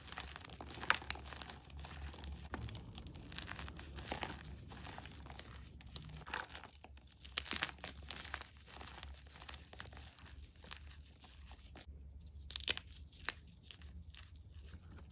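Chalk-covered fingers crush and crumble chunks of green-dyed and plain white gym chalk in a bowl, then sift the powder. Dense, dry crunching and crinkling crackles run throughout, with a few sharper snaps, over a steady low hum.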